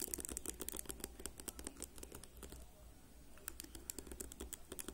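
Fingernails of one hand rapidly flick and scratch the rows of white-tipped plastic pins on a whole black plastic hairbrush resting on a table. The result is a fast, dense run of crisp, bright plastic clicks and ticks over a steady low hum, thinning to a soft scratching lull midway before the quick flicking picks up again.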